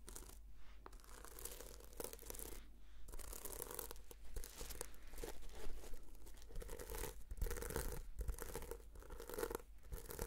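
Fingernails scratch across the sequins of a red sequin-covered notebook held in both hands. The result is a steady, dry rasping and crinkling texture with brief gaps between strokes, over a faint low hum.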